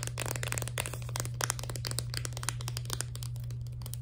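Long nails rapidly tap and scratch a full plastic blister pack of crayon-shaped candies on a cardboard card. The result is a dense stream of crisp, bright plastic clicks and crackly scrapes over a steady low hum.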